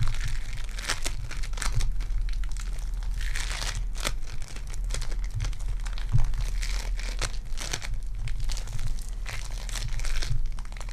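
Purple foam-bead clay is pulled apart into two pieces and pressed back together, making a steady stream of soft crinkling, crackling pops over a low constant hum. The texture is dense, dry and close-up, with brief bright crackle bursts throughout.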